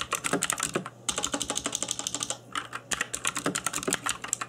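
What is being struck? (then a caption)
Plastic mechanical keyboard. Fingertips in black nitrile gloves type quickly on a cheap RGB-backlit mechanical keyboard with plastic keycaps. The result is a rapid run of sharp, bright, clicky key taps with brief pauses near one second and two and a half seconds, over a faint steady low hum.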